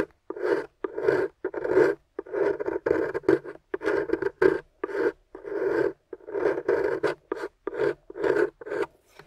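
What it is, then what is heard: Plaster block scraped with a metal pick. A metal chisel pick with a wooden handle scratches and scrapes the surface of a solid gray plaster dig block resting on a white table, steadied by long-nailed fingers, raising gray dust. It makes a steady run of short, rasping scrapes with brief pauses between them, each a gritty midrange rasp centered near 390 Hz with bright, hissy edges.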